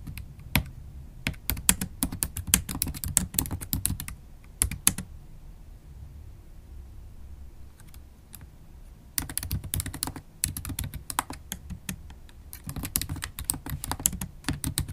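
Long stiletto acrylic nails and fingertips tap on the black plastic keys of a MacBook Pro keyboard set in an aluminum laptop body. Dense, quick bursts of sharp, bright clicks with soft low thuds underneath run for about five seconds, pause into near quiet, then resume from about nine seconds to the end.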